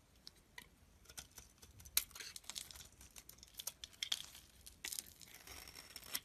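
A box-cutter blade shaves thin flakes off a solid bar of soap with a white core, held in the hand. It makes quiet, dry, bright scraping and crinkly cutting sounds in a rapid irregular stream of short ticks, with a few sharper snaps.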